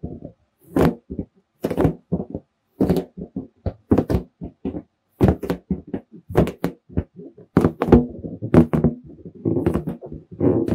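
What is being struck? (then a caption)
Inflated latex balloon. Fingertips tap the surface of a large, hollow, air-filled red latex balloon held close to the microphone. The taps come as quick, irregular bursts of dull, low, drum-like thumps that die away almost instantly. Toward the end they blend into denser, continuous rubbery patter.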